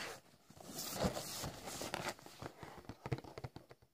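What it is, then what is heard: Cardboard biscuit box. Fingertips tap and scratch a rectangular Plasmon cardboard box of biscuits, hollow and filled with packs. Dry, papery scratching swells and fades over the first two seconds, followed by a series of short, muffled taps with a low, hollow knock.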